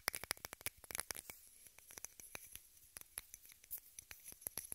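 A small rectangular pink plastic case, apparently hollow, is held in both hands above the recorder and tapped and scratched with long red-painted nails. About two dozen quick, dry, bright clicks come in uneven bursts over soft scratching, each dying almost instantly with little low end.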